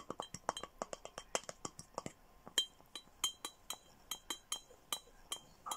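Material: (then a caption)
Glass. A clear glass Hello Kitty milk-style bottle with a red plastic lid and straw, hollow with a few small items inside, is tapped with fingernails and handled. It gives a quick run of bright, short glassy clinks and ticks with a high ringing tone and no low end.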